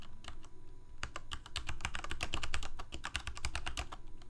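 Both hands rapidly type with their fingertips on a full-size black plastic Corsair K68 mechanical keyboard with Cherry MX Red switches and blue backlit keycaps, resting on a white desk. Quick, irregular keystrokes make short, bright clacks over a low thud, each dying away almost at once, above a steady low hum.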